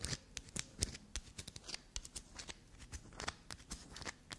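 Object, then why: Small bar of black soap. Long black nails scratch and scrape the surface of a small, solid black soap piece held between the fingers, flaking pieces off. A rapid, irregular series of dry, crisp scratches and clicks is heard, each sharp and bright with almost no ring, over a soft background hiss.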